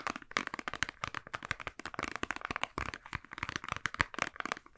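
A mostly empty white and blue soft plastic squeeze tube is bent, crinkled and scratched with the fingers and nails. The result is a quick, continuous run of sharp, dry crackles and clicks with bright upper tones and very little low end, each snap dying away almost instantly.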